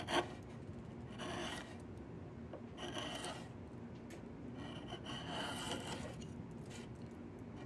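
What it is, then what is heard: Diamond willow walking stick being scraped. A steel blade with a yellow handle is drawn along a long, solid, partly debarked diamond willow branch being carved into a walking stick, scraping and shaving the wood. It opens with a sharp click, then soft, rasping strokes rise and fall over a low, steady rumble, with brighter hiss in the louder passes.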